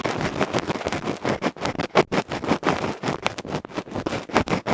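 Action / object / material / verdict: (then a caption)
scrape / bamboo ear pick on a metal microphone capsule with felt face / metal, felt / none. A bamboo ear pick scratches the felt face of a small metal electret microphone capsule in fast strokes. The result is a loud, close, broadband scratching and rustling that pulses rapidly with each stroke, with bright streaks on the sharper scrapes.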